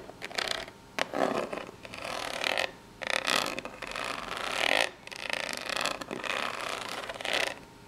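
Long pink nails scratch the face and sides of a small corrugated cardboard box held up close. The result is a run of dry, rasping scrapes in uneven bursts, with bright, papery texture and brief gaps between strokes.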